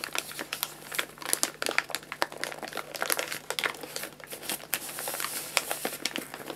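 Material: Paper.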